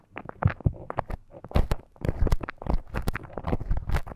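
A thin bamboo ear pick held in the fingers scratches and scrapes inside the canal of a life-size, flesh-coloured solid silicone ear model that serves as a binaural microphone. The result is a close, muffled run of short scratchy crackles and soft thuds, heavy in low rumble with little high-end brightness.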